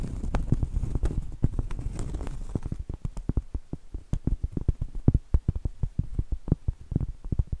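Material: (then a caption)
Cork. Long acrylic nails rapidly tap and scratch the flat face of a round solid cork trivet held in the air. For the first few seconds a dense, rustling scratch with a low rumble dominates, then it gives way to a quick, uneven run of many short, dull, muffled taps with almost no ring. The taps are low and soft, with little brightness.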